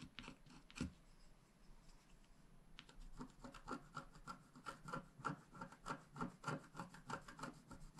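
A wooden stylus scratches grass strokes along the bottom edge of a flat black wax-coated scratch art card held flat by one hand. A few isolated dry scratches and a brief quieter stretch give way to a steady run of short, rasping strokes about three per second. Each stroke carries a faint squeaky tone near 1.4 kHz over a soft, low rub.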